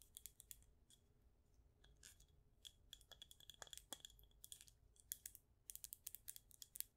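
Long nails tap the glass sides and lid of a clear glass jar candle with a white label, filled with wax. A quiet, uneven run of quick, bright clicking taps comes in bursts, with a faint glassy ring under some strikes over a low background hum.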